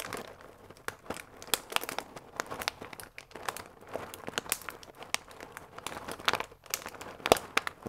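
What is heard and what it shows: A full paper fusilli bag with a plastic window, held upright, is squeezed and crinkled with the fingertips. Dense, dry crinkling runs throughout, with many sharp, bright crackles and little low end.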